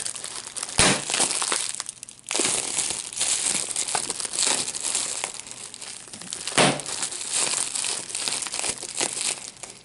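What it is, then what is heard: Bubble wrap being popped. A clear piece of plastic bubble wrap with small air-filled bubbles is bunched in both hands while the fingers twist it and pop the bubbles. Dense, bright crinkling runs throughout, broken by sharp snapping pops. The loudest bursts land near the start and again past the middle, with a brief quieter lull around two seconds.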